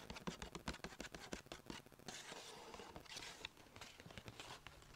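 Long nails rapidly tap and scratch the side of a small striped Sephora paper bag tilted on a lap, while the other hand holds its ribbon handles. Quick, dry paper taps with short, crisp attacks give way to a bright, papery scratching rustle in the middle, then more taps mixed with scraping.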